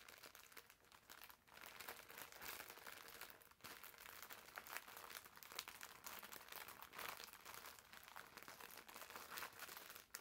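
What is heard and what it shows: A green foam bath sponge wrapped in clear plastic film is squeezed and scratched with fingertips and short nails. The result is a steady, quiet, bright crinkling and scratching with almost no low end, broken by a brief pause.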